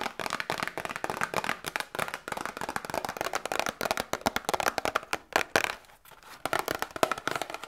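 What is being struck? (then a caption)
Small cardboard box. A small, hollow, printed cardboard Grippostad medicine box is held up in both hands and tapped and scratched with long nails. Rapid, dry, crisp taps and scratchy crinkles sound bright and thin, with almost no low end and no ring. There is a brief lull around the six-second mark before the tapping resumes.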